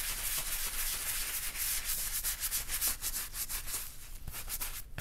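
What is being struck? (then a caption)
Leather wallet scrubbed with a bristle brush. Gloved hands scrub the edges and outer surface of a black leather bifold wallet with a wooden-handled bristle brush to clean it. Steady, rough brushing strokes make a bright, scratchy hiss over a low rumble, easing slightly toward the end.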